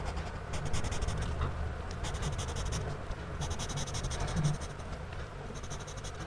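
A gloved hand draws with a blue-bodied pencil on the page of a spiral-bound paper sketchbook lying flat, the tip scratching repeatedly across the paper in short hatching strokes. Bursts of bright, dry scratching come and go over a steady low rumble.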